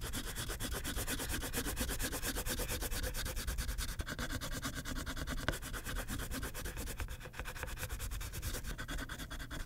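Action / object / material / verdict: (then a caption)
scrape / wax crayon on a paper sheet on a clipboard / wax, paper / none. A pink wax crayon is rubbed in quick strokes across a thin white paper coloring page clipped to a clipboard. A steady, rapid scratchy rubbing continues throughout, with a papery rasp over a low thrumming from the clipboard.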